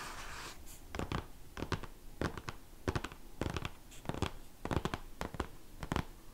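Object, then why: Hardcover book with glossy cover. Fingertips and short nails of both hands scratch across the glossy cover of a large, solid, closed hardcover art book. Quick clusters of dry, rasping strokes repeat in short bursts, with a faint hiss between them.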